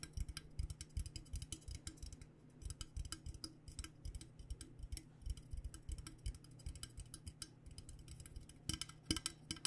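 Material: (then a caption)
Stainless steel. Long nails tap rapidly and irregularly on the sides of a hollow, insulated stainless steel Klean Kanteen water bottle with a purple metal coating. Each tap is a short, dry tick with a bright click and a low hollow body tone near 316 Hz that fades almost at once. The taps come in clustered bursts with brief pauses, ending with a few louder strikes.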